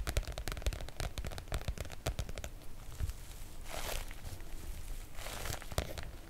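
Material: Coated oilcloth.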